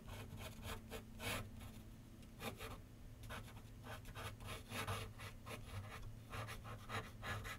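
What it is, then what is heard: Pencil scratching on paper over a drawing board. A pencil tip scratches short sketch lines on a large white paper sheet mounted on a board with solid backing, set on a wooden easel. Quiet, dry, scratchy strokes come in quick bursts with bright hiss, over a steady low hum.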